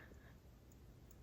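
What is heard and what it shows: A plastic NECA horror action figure is shaken in a shake test to check for loose parts. Only a quiet, low rumble of handling is heard, with no rattle. Nothing inside moves, so the figure is judged a good one.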